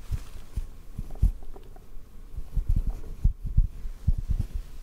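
A small, soft white cotton ball held near the mic is lightly tapped and pinched with fingertips. The result is a series of short, muffled low thumps with almost no ring, sitting over a faint steady hum.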